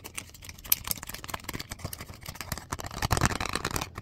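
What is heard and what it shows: A few sheets of white printer paper held in the hand are rubbed, scratched and flicked with the fingertips and fingernails. The result is a steady stream of dry, crackly rustling with quick, sharp ticks and flicks that stop almost at once. A louder, busier burst of scratching comes near the end.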